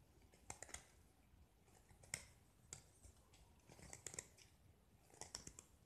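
A metal utility-knife blade scrapes and carves a small solid gypsum block with a pink painted coating, exposing the white plaster beneath as powder falls away. Quiet, bright, crisp scratching and crunching sounds come in short bursts, with sharp gritty scrapes standing out over a soft background hiss.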